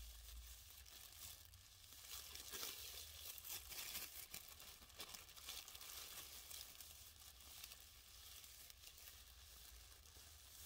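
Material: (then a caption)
Plastic. A thin, empty white printed plastic dentist bag is bunched in both hands and slowly crumpled and rubbed between the palms and fingers. The result is soft, continuous, bright crinkling with a faint low hum beneath it.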